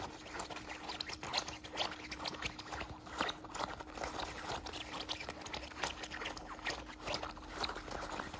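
A small beige nylon zippered belt bag, held in one hand, is scratched and rubbed across its fabric front with fingertips and nails. The result is a steady run of quiet, dry, bright scratching strokes with short bursts of rubbing and no ringing. A faint low hum sits steadily underneath.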